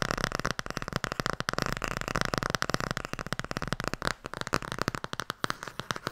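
A fast, steady stream of light fingertip and nail taps runs almost unbroken for six seconds. Each tap is a short, dry, broad click that dies at once with no ring, the flat thud of a stiff board cover over paper pages.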